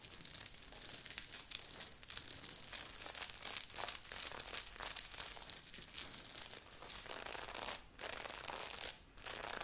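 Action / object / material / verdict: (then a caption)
scrape / knit sweater with sequin patch / sequins, knit / none. Long nails of both hands scratch quickly and roughly across a grey knit sweater with a beaded, sequined heart on the chest, worn by the person. A dense, continuous bright scratching and crinkling rasp carries mostly high-frequency energy, with brief pauses near 8 and 9 seconds.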